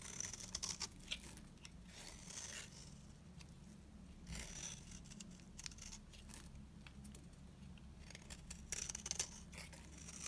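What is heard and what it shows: A blade digs into the face of a dry, beige oval bar of solid soap, shaving off curls in short, crisp scraping strokes. The cuts come in clusters of bright, high, dry crackles and scratches over a steady low hum, with almost no ring after each stroke.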